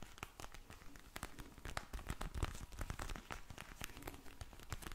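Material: Vinyl.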